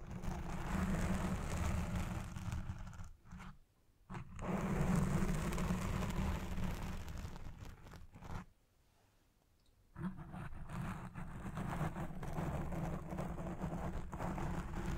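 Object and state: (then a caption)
Foam microphone windscreen scratched. Fingertips and nails of both hands scratch the black foam windscreen on a Blue Yeti Pro microphone as it records, producing a dense, bass-heavy rumbling crunch right at the capsule. The scratching stops briefly around 3 to 4 seconds and again from about 8.5 to 10 seconds, then resumes steadily to the end.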